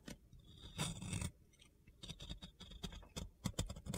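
A metal box cutter blade scrapes and carves powdery white soap from a solid, pink-glitter-coated round soap. Close up, it makes dry, gritty scraping strokes: a long rasp near the start, then a run of short crunchy scratches and taps, with bright crackle over a low body.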